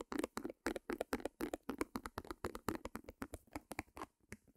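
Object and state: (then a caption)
Small stretched canvas, nail tapping. Fingernails tap rapidly on a small white stretched canvas, with a wooden easel beside the microphone. The result is a quick, steady run of short, dry taps with a hollow, drum-like body and crisp bright edges that die away almost instantly.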